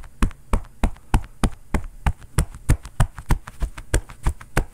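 A bare fist pounds and knocks quickly on a long, padded, floral-print quilted cotton oven mitt worn on the other hand; the mitt is soft and hollow. The result is a fast, fairly steady run of dull, muffled thumps, mostly deep low-end, with a little faint higher rustle and very short decay.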